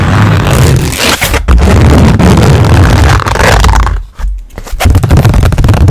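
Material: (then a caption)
Canvas. Long nails tap and scratch the face of a blank white stretched canvas, about 20 cm square, held up close to the microphone. The result is a loud, dense, fast stream of scraping and tapping with a heavy low boom, easing off briefly around the four-second mark before picking back up.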